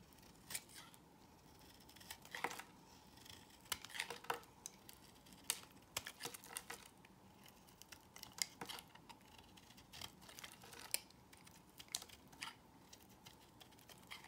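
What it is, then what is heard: Bar soap being sliced. A solid square cream-colored L'Occitane bar soap, held in the hand, is sliced with a box cutter blade, with shavings falling off. Quiet, crisp, bright scraping cuts and sharp clicks repeat irregularly throughout over a soft hiss, each one dying away almost instantly.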